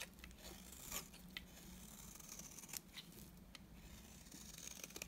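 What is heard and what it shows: A utility knife blade shaves strands off a solid, dry, beige oval bar of soap. The result is a quiet, steady run of bright, crisp scraping and crackling with sharp ticks. A low hum runs underneath throughout.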